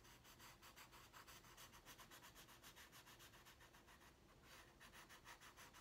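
A pink wooden colored pencil colors on a large flat white paper drawing pad resting on a wooden desk. The pencil makes short, repeated rubbing and scratching strokes in a steady, quiet rhythm. Each stroke gives a soft, bright, papery scrape.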